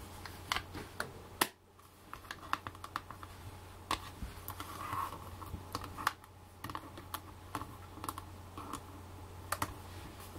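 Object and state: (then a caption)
Plastic eyeshadow palette tapped with fake nails. Long black fake nails tap and scratch the clear plastic lid of a flat, rectangular handheld eyeshadow palette. Quick, sharp plastic clicks land at an uneven pace between softer scratching, with a steady low hum underneath.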